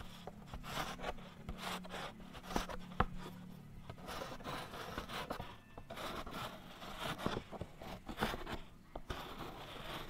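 A white chalk stick is drawn and rubbed across a small, thin black chalkboard panel that is already covered in chalk writing and held close to the mic. Dry, gritty scratching strokes come in uneven bursts with short, sharp clicks, and a low hum sits under the first few seconds.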